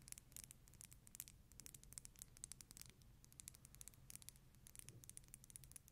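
Long nails tap and scratch a small dark amber glass dropper bottle with a black dropper cap, apparently filled, held close to the microphone. Quiet, rapid, bright clicks and scratchy ticks come in uneven bursts over a steady low hum, each tap dying away instantly.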